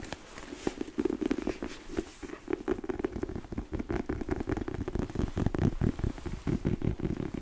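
Long nails scratch and tap along the lugged tread of a solid, chunky black treaded rubber boot outsole that is held up in the air. The result is a steady run of quick, dull, muffled taps and scuffs, mostly low and thuddy with very little brightness, each dying away almost instantly.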